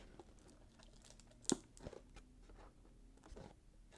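A small rectangular cardboard gift box, wrapped in red patterned paper with a gold ribbon, is turned in the hands while fingertips tap and scratch the wrapped surface. Soft papery scratching and crinkling run throughout at a low level, broken by one sharp, bright tap partway through that dies away almost at once.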